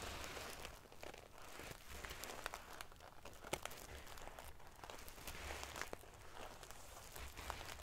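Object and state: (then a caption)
Metal sequin-covered pillow. Fingernails scratch and ruffle the metal pieces near the top edge of a silver metal paillette pillow covered in metal sequins. The result is a steady, quiet stream of dense crinkling and prickly rustling, broken by many sharp, bright ticks as the metal pieces click against each other.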